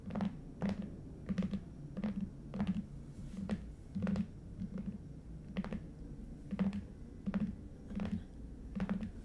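Fingernails scratch and tap both short ends of a long red Stuhrling watch box, a lidded, hollow cardboard box covered in coated paper. Repeated light taps give dull, hollow thunks with a low resonance and brief bright clicks, over a soft scratching rustle between them.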